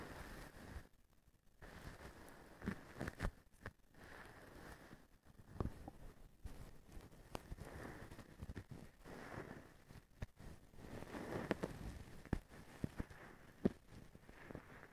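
A blue plastic-strand feather duster, held by its white handle, is scratched and brushed with fingers and a small stick tool. Soft, low rustling and scratching comes in bursts with brief quiet gaps, broken by sharp little clicks and taps of the plastic strands throughout.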